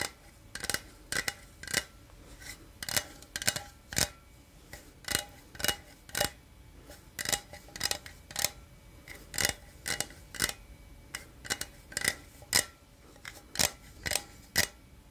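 A small, hollow, printed aluminum energy drink can, its fill not visible, is held close to the microphone and scratched along its side with fingertips and nails. Around thirty short, bright, scratchy bursts come in an uneven rhythm, each dying away almost at once over a quiet hiss.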